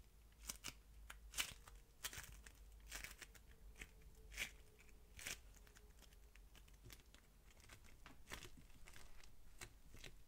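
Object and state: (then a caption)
Polystyrene-bead modelling foam strand. A solid strand of yellow, crunchy polystyrene-bead modelling foam is squeezed and rolled between the fingers, then bent into a ring with both hands. This makes sharp, bright crackles and crunchy pops at irregular intervals, which die away almost at once. A faint, steady low hum sits underneath.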